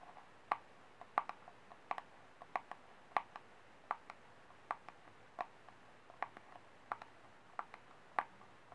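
Fingernails tap the flat base of a small, empty, white disposable plastic cup held upside down. About 23 quick, hollow, light clicks sound at an uneven pace, each with a mid-pitched tone near 840 Hz that dies away almost instantly. The tapping is quiet against a soft background hiss.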